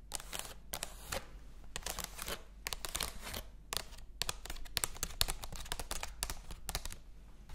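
Long acrylic nails tap and scratch across the printed paper pages of an open hardcover cat book. Quick, sharp, bright clicks come in clustered bursts, mixed with dry papery scratching over a faint steady low hum. The sound stays quiet and close throughout.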